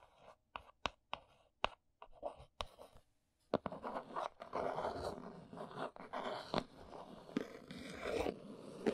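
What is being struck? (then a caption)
Cardboard box. Long nails tap the top and folded end flaps of a small brown cardboard box, making sharp, dry clicks separated by short silences. After about three and a half seconds, the nails trace and scratch across the cardboard in a continuous papery rasp, with occasional brighter taps on top.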